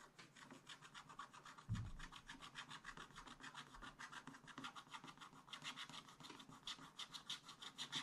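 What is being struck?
Coated scratch-art paper page scratched with a wooden stylus.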